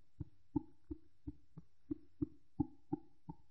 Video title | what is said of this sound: Sens du tissu | on entend un son clair